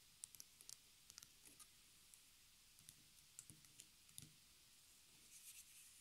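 Fingertips and long nails tap a small white stretched canvas on a wooden frame, lying flat on a wooden table and later turned back side up to show its hollow wooden frame. Quiet, dry, bright clicks and soft taps come in scattered bursts with almost no ring. Near the end they give way to a faint, hissy scratching.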